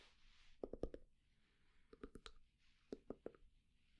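A wooden candle lid is tapped with quick, dry knocks that come in three short bursts, separated by soft scratching. The taps are quiet, with a hollow mid tone around 450 Hz, and each one dies away almost immediately.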